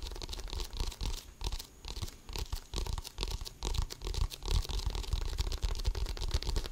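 An inflated, hollow composite leather basketball with a pebbled surface is held in both hands while fingertips scratch and tap it. The result is a dense, irregular stream of dull, low thuds layered with dry, crunchy scratching and a faint bright hiss, with each tap dying away almost instantly.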